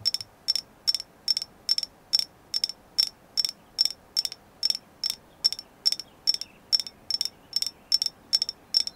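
Steady, quick tapping on a carved agate moon goddess figure, evenly spaced over the clip. Each tap is a short, bright, high click with a tight ring that dies away almost at once, and the gaps between taps stay quiet.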